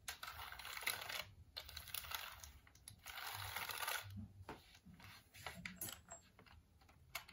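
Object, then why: Plastic computer keyboard. A black plastic computer keyboard with its cable is held in the hands while fingertips type on the keys and rub across them. The result is quiet, irregular, rapid clicking mixed with bright, hissy rubbing, with short bursts of dense tapping between softer pauses.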